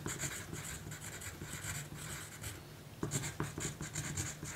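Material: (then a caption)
Paper. A graphite pencil writes continuously on a small, thin pink paper note card resting on a table, scratching across the paper surface. The sound is a soft, steady scratching with bright hiss in the highs and a low body underneath. It turns into sharper, more distinct strokes toward the end.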